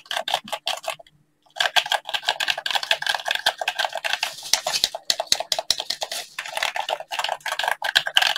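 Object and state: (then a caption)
Plastic game controller, button tapping. A hollow black plastic gamepad is held in both gloved hands while fingertips tap and press its buttons in quick, uneven bursts. The clicks are dry, bright and plastic, with a short pause about a second in before the tapping resumes and runs steadily to the end.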